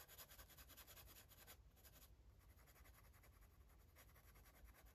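A grey-barrel felt-tip marker rubs and scratches over the page of an open paper coloring book lying flat on a table while coloring. Quick, uneven back-and-forth strokes make bright, dry scratching bursts over a steady low rumble. The strokes soften after the first couple of seconds and pick up again near the end.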